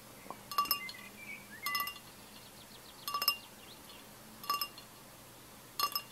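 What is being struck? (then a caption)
Glass pint glass. A tall, clear, etched pint glass, with a little orange drink and ice left at the bottom, is held in one hand and tapped on the side with the fingertips and nails of the other. Five short bursts of bright, high glassy clinks come with brief rings that die away quickly. Faint chirps can be heard between the bursts over a quiet background.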